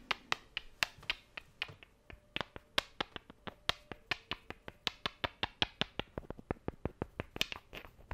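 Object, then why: Small wooden cubes. Two small, solid, light wooden cubes are tapped together with the fingers in quick clicks. About 35 sharp, bright clicks sound in a fairly steady rhythm, each dying away almost instantly with a pitched ring near 2.7 kHz and very little low end.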